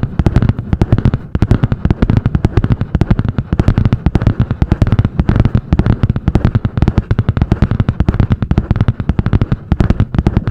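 Long painted nails tap and scratch fast on the butterfly-print hard cardboard cover of a medium spiral-bound notebook. The result is a rapid, unbroken stream of short, dull, low-pitched thuds with little high end. Each tap dies away almost instantly.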